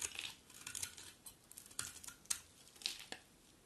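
A utility knife blade scrapes a solid, dry, mint green bar of soap into crumbly shavings. Quiet, bright, crisp scratching and crackling come in short bursts with sharp, dry attacks and almost no low end.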